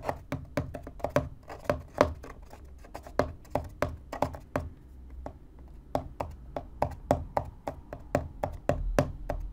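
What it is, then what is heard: Empty cardboard box. Fingertips and nails tap and scratch the top of a small, empty, hollow corrugated cardboard box. The result is a quick run of dull, hollow knocks with a midrange ring, separated by soft, papery scratching. Each knock dies away almost instantly.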